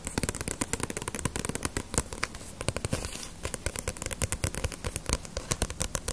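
A small, solid paperback One Piece manga volume with a glossy paper cover is held in the hands and tapped and scratched with long nails on the cover. It makes a rapid, irregular stream of sharp, crisp clicks with a soft low thump, and a brief stretch of denser papery scratching around the middle.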